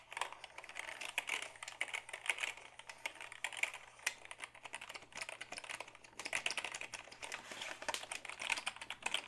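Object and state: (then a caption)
Plastic computer keyboard. A black Dell keyboard of hollow plastic is held tilted while fingertips type on the keys. Rapid, irregular bursts of dry, bright plastic clicks and taps, centered around 2.2 kHz, die away almost instantly, with a faint steady low hum underneath.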